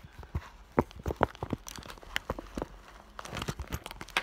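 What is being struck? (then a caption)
Clear vinyl (PVC) bag. Long nails tap quickly on the front of an iridescent clear vinyl school bag, which has an item visible inside. The result is a fast, irregular run of short, crisp plastic ticks and light crinkles with almost no ring.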